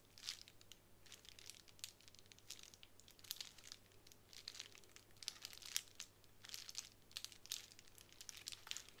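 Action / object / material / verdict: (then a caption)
scrape / plastic bubble wrap sheet / plastic / none. Long nails scratch and press on a small sheet of plastic bubble wrap lying flat on a wooden table. Quiet, bright crinkling and scratching comes in bursts, with sharp crackling snaps scattered throughout and a faint steady low hum underneath.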